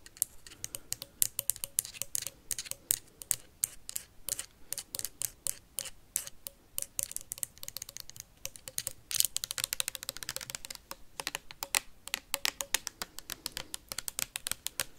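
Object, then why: Plastic sanitizer bottle tapped with metal paperclips. A clear plastic hand sanitizer bottle with a white cap, holding liquid, is tapped and scratched fast by metal paperclips worn on the fingertips. Sharp, bright clicks land in a rapid, uneven stream for the whole clip, with scratchy bursts between them and almost no low end.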